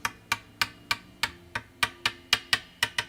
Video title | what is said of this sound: Christmas Eve - Last 2025 Live Stream | Sounds the same. It's got the same sort of timbre, if you're taking into account the greater timber mass in the center.